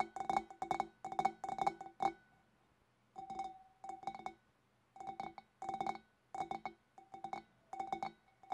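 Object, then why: Glass fish bowl. Long dark nails tap the upper shoulders beside the rim of a large, empty, hollow clear glass fish bowl with both hands. Quick clusters of bright clinks carry a steady ringing tone near 780 Hz, coming in rhythmic bursts separated by short pauses in a quiet space.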